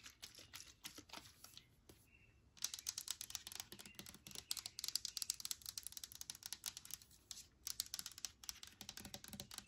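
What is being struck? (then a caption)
Plastic spray bottle with liquid. Long nails tap the body of a hand-held clear plastic hand sanitizer spray bottle with liquid inside, making rapid, bright, dry clicks with almost no ring. The tapping runs in quick bursts, drops off briefly near the two-second mark, then returns louder and denser.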